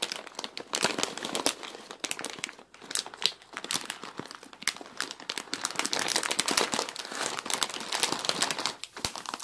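A large clear plastic bag full of dry wavy egg noodles is handled and squeezed up close, so the plastic crinkles and the noodles crunch inside. The sound is a dense, continuous stream of bright, crackly bursts with almost no low end, rising and falling in loudness as the bag is worked.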